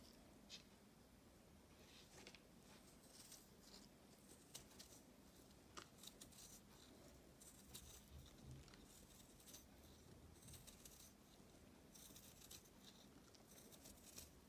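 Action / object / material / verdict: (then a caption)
scrape / pressed chalk ball cut with a knife / chalk / none. A knife shaves and cuts thin layers off a solid, palm-sized ball of reformed purple chalk with flecks, held in one hand. The result is quiet, soft scraping and crumbly patter, with short bright crackles scattered over a low, steady hiss.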